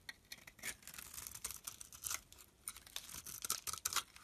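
A solid olive-green bar of olive soap, held in the hand, is shaved into layered curls with a utility knife blade. A quick series of dry, bright scraping strokes sounds in short uneven bursts, with almost no low end and no ring after each stroke.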